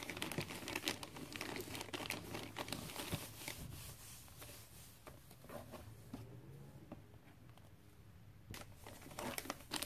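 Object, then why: Glossy paper-wrapped gift box. Fingertips and nails rub and tap a gift box wrapped in glossy red Christmas paper, producing quiet, dense crinkling and papery rustling with scattered soft, bright taps. The sound is steadier and busier at first, thins out in the middle, then ends with a few sharper crackly bursts.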